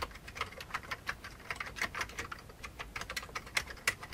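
Fingertips of both hands type fast on the keycaps of a full-size old beige plastic computer keyboard with a hollow plastic case. A rapid, uneven stream of short, dry, bright clicks fills the clip, each one dying away almost instantly, with a few louder key strikes standing out from the rest.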